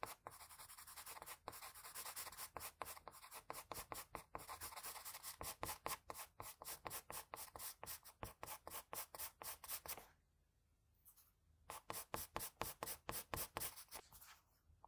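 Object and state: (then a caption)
Pencil sketching on drawing paper. A graphite pencil held in the fingers scratches short, rapid sketching strokes across a sheet of drawing paper lying on a flat surface. The result is a steady run of bright, dry scratching bursts, with a brief near-silent pause around the ten-second mark before the strokes resume.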